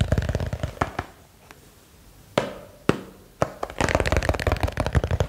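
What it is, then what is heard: Small box. A small box is tapped quickly with dull, low-pitched, short clicks that stop almost instantly. A rapid flurry of taps is followed by a quieter stretch with a few isolated sharper knocks, then fast tapping resumes to the end.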